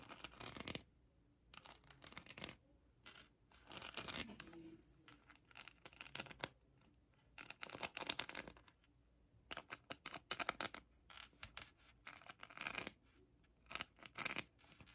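Long acrylic nails scratch a hand-sized plastic heart covered in colored acrylic rhinestones, held in the hand. The result is bursts of bright, crisp, rapid clicking and scratching separated by short quiet pauses, with little low end.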